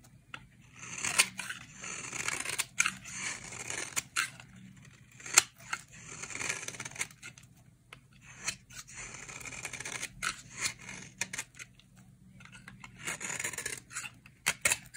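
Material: Soap.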